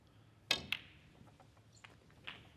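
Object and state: Very hard snooker cue tip.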